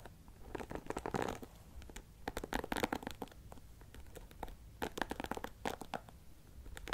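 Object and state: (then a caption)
Rhinestone-covered plastic hairbrush. Fingertips and nails scratch and tap the dark bristles and the pink and clear rhinestone-covered back of a handheld plastic paddle hairbrush held close to the microphone. Quiet clusters of dry, crackly scratching and soft clicks come in uneven bursts, with short, dead taps and a low hum underneath.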